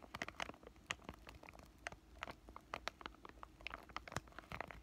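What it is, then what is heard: Crinkled plastic pouch. A palm-sized, thin, flat white flexible plastic-laminate pouch of acne patches is held at the bottom edges and crinkled and squeezed with fingertips and short lavender nails. Quick, dense crinkles and crackles with bright, high-reaching snaps sound close and quiet, each one cutting off almost instantly.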